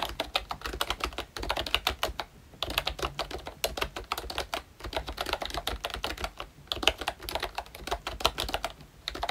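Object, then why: Plastic membrane computer keyboard. A full-size Royche Disney Mickey Mouse themed retro membrane keyboard with round plastic keycaps is typed on continuously with the fingertips of both hands. Rapid, bright, soft plastic clacks come in dense bursts separated by brief pauses. Each keystroke is short and dry with almost no ring.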